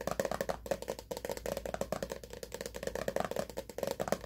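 Fingernails tap rapidly on the sides and black plastic lid of a mid-size hollow plastic pre-workout powder tub, likely partly full. About 28 quick, dry clicks sound with a hollow mid-pitched knock near 555 Hz. Each tap dies away almost instantly.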